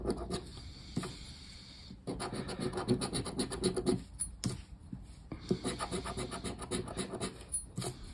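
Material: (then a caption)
Cardboard. A hand scrapes the silver latex panel of a thin cardboard paper lottery scratch-off ticket, lying flat on a wooden table, with the edge of a black round plastic disc. Rapid, dry scratching strokes come in dense bursts of rough rubbing, separated by quieter pauses with faint light scraping. The sound is gritty and mid-toned with some bright edges.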